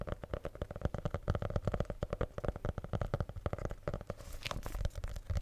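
A red hardcover notebook with a solid, rigid faux leather cover is tapped rapidly with the fingertips and nails, producing a dense series of short, dry, low thumps. Near the end, a brief brighter scratchy sound rises over the tapping.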